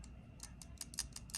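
A second folding pocket knife with a steel blade is shaken to compare it, and its loose blade rattles with seven quick, bright metallic ticks over a low background hum. It shows the same blade play as the first knife, a rattle that shouldn't be there.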